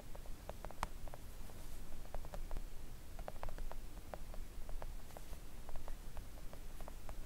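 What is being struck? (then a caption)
Silicone mat tapped with fingernails. Long coffin-shaped press-on nails tap gently on a thin, solid, flat pink silicone mat lying on a table. Soft, short clicky taps with almost no ring come in an irregular patter over a steady low rumble.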